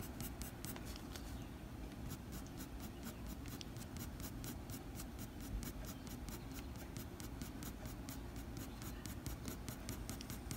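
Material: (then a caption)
Paper. A blue mechanical pencil's graphite tip scratches short strokes across a flat white drawing paper sheet along the fur edge of a drawing. Quick, soft scratchy ticks repeat steadily over a low, constant rumbling bed at a quiet, even level.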